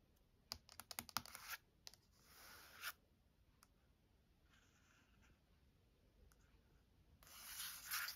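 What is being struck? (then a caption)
Paperback book with glossy coated cover. Long nails tap and scratch the glossy coated front cover of a Chagall paperback art book. A quick cluster of sharp, bright clicking taps comes first, then a rising, hissing scratch. After a quieter stretch of faint scraping, a louder, airy scratching swells at the end.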